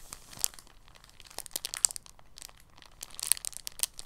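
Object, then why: Thin polyethylene plastic bag. A thin, clear, empty polyethylene bag lying on a table is folded and pressed flat with fingers. It gives soft, quiet, bright crinkles and crackles in irregular bursts, with sharp clicks that stop almost instantly and little low end.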